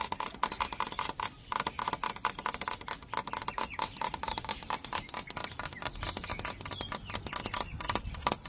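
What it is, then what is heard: Dry hollow bamboo stalk. Fingertips and nails tap quickly along a thick, hollow, dry bamboo culm, making a rapid run of dry, clicky knocks with a faint hollow tone around 1 kHz. Each tap dies out almost instantly, leaving no ring.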